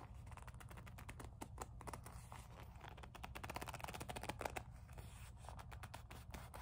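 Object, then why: Small leather coin purse with metal frame. Long nails tap and rub a small black leather kiss-lock coin purse with a metal frame, held in both hands. A quiet, steady stream of quick, dry taps and scratchy rubs plays over a low background hum, with brief, crisp clicks that die away almost instantly.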